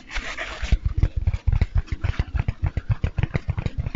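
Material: Foam.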